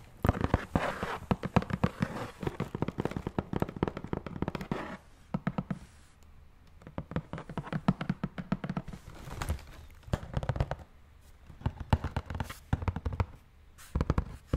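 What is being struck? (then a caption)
Cardboard shoe box. Fingertips tap and scratch the lid of a large black Jordan shoe box made of hollow, rigid cardboard, held against the chest. Quick runs of dull, low, hollow taps die away almost at once, mixed with soft scratching. The bursts pause briefly around the middle and again near the end.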